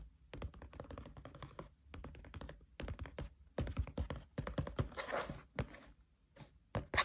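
A spiral notebook with a green cover lies flat while both hands tap the cover with their fingertips. The result is quick, rhythmic, soft thuddy taps with a short ring, mostly low in tone, in bursts separated by brief pauses. Around five seconds, a brighter, rustling scrape comes through.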